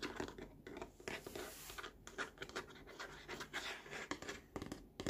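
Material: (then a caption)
Plastic. Fingertips and short nails tap and scratch the underside of a large, hollow, molded green plastic tray edge on a baby walker, near the logo. Quick, dry taps with a hollow mid-range knock mix with bright, rasping scratches. The sound is quiet and dies away almost instantly.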